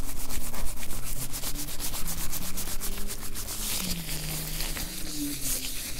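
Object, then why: Oiled nitrile rubber gloves. Blue nitrile gloves coated in oil clasp, squish and rub together close to the recorder. The result is a steady, rhythmic run of wet, sticky rubbing and squelching sounds, with quick bright crackles over a soft low rumble that fades slightly toward the end.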